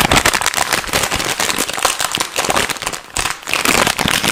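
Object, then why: Plastic snack bag. A hand-sized, light-green printed plastic food bag, soft and partly filled with food, is held, squeezed with fingertips and crinkled close to the microphone. It makes fast, loud, dense crackling and rustling that is bright and hissy with little low end. The crinkling eases briefly about three seconds in, then picks back up.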